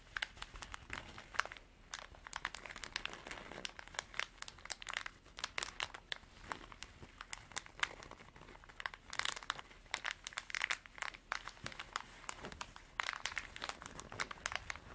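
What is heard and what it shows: Long dark artificial nails scratch and squeeze a small, soft, hollow cream canvas zippered pencil pouch. The result is a steady stream of dry, crinkly scratching and quick bright ticks that overlap densely, with little low end and almost no ring after each stroke.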